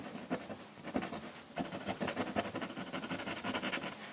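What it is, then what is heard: Pen nib scratching on drawing paper. A metal pen nib in a wooden holder scratches ink hatching across the dark rock area of a flat sheet of drawing paper, with the hand resting on the paper. Quick, dry scratching strokes with a bright, papery texture repeat steadily and grow denser toward the end.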